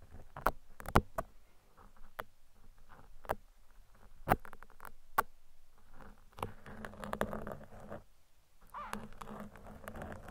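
Two metal tweezers pick and scratch at the surface of a large, soft, porous black foam windscreen covering a microphone. Close, muffled scratching and rustling patter is punctuated by a series of sharp, dry clicks, with the sound sitting mostly low and dull.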